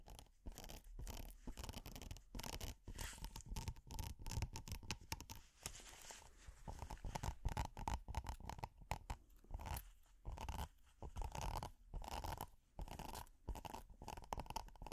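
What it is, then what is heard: Silicone pot holder scratched. A flat red silicone pot holder with a honeycomb texture, held in hand, is scratched with metal finger picks. Rapid bursts of dry, crackling scratching repeat with brief gaps between them, carrying a heavy low rumble and a faint steady tone around 900 Hz.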